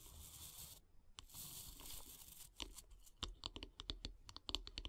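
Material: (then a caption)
Wood. Long grey-polished nails scratch and tap along the long, solid light-wood handle of a bristle bath brush lying on wood log slices. Two bursts of bright, hissy scratching fill the first half, broken by a short pause. They give way to a quick run of sharp, dry taps with almost no ring.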